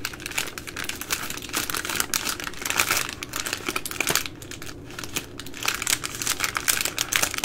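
Long nails scratch and pinch the thin, crinkly plastic film ends of baby wipes packaging. The result is a dense, bright crinkling full of rapid, short crackles, briefly softening midway before building again.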